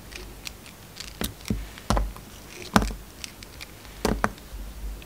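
A steel utility-knife blade slices through a hand-sized, solid green and white soap bar with a glitter edge, held in the hand. A series of short, crisp cutting clicks and scrapes sounds over a low, dull body, with a few louder, sharper cuts standing out. Each cut dies away almost instantly.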